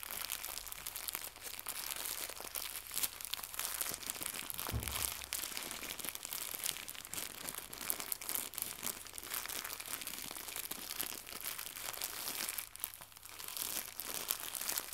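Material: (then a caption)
Plastic. A small white crinkly plastic gift bow, held in both hands, is crumpled and twisted by fingertips with long red nails. It gives a steady, dense, bright crinkling and crackling throughout, with a brief low thump just before the five-second mark.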